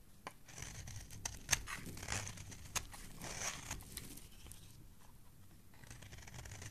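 A solid purple bar of soap, held in the hand, is scraped with a metal blade on a handle, shaving off curls onto the pile below. Quiet, dry scraping strokes with a bright, crisp hiss repeat at an uneven pace, with a few sharper clicks as the blade catches, then fade to a softer rasp.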